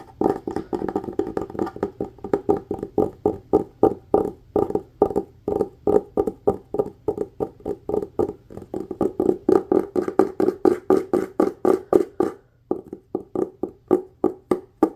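Fingertips and nails tap and scratch quickly on the cover of a solid red cloth hardcover book. Dozens of short, dry, woody knocks come in a fast, uneven rhythm, each dying away almost instantly with a dull midrange tone. There is a brief pause near the end before the tapping resumes.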